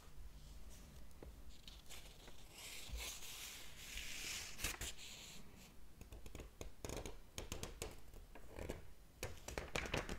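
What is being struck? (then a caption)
Hardcover book with paper pages. Fingertips tap and brush the paper pages of a large open hardcover book, then flip a page. Soft, dry rustles and papery swishes are heard, with a broad brushing swell in the middle and a run of crisp taps and scratches toward the end.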